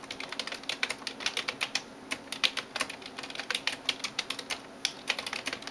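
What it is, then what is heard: Plastic computer keyboard. A right hand types rapid, repeated taps with fingertips and nails on a Razer TRON backlit plastic keyboard resting on a desk. Some 35 short, bright, clicky strikes with almost no ring follow one another in quick uneven bursts, each tap dying away at once.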